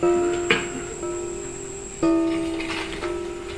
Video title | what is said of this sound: KERIS - pengenalan peninggalan benda PUSAKA Jawa yang telah diakui Internasional | Jadi ketika ditintingi bunyinya tingnya bagus.